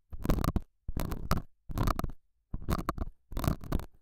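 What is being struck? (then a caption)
Felt pad. A metal dental scaler scratches and pokes the surface of a small, solid, square beige felt pad mounted over a small lavalier mic. Five bursts of close, rough, muffled scratching are heard, separated by short silences, with heavy low rumble and little high content.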